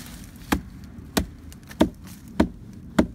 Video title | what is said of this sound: Tree rot diagnosis in a Eucalyptus tree | Hear that? That's the sound you don't want to hear. That's hollow.